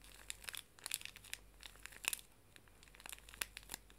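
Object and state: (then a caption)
Plastic-wrapped pocket tissue pack. Fingernails tap and scratch the plastic film of a full, small pink pocket tissue pack, and then both hands squeeze and crinkle it. The result is quiet, bright, crackling plastic crinkles made of many sharp, short snaps with almost no low end.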